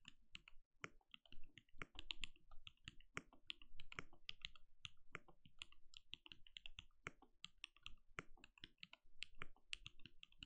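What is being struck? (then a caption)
Mechanical keyboard with plastic keycaps. A compact RGB-lit mechanical keyboard with a translucent plastic case and plastic keycaps sits on a desk and is typed on steadily with the bare fingertips of both hands. A rapid, uneven stream of short, dry keystrokes pairs a deep low thud with bright plastic clicks. Each stroke dies out almost instantly.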